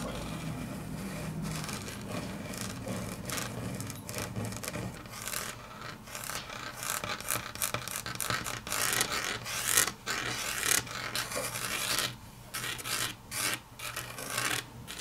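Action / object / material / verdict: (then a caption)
scrape / laminate tabletop / laminate / none. Long natural nails scratch and tap on a solid, flat grey wood-grain laminate tabletop, making bright, dry rasping scrapes mixed with quick clicks in an irregular, busy rhythm over a faint low hum. The scratching grows louder and sharper toward the middle, then thins into scattered taps as the hands lift from the table at the end.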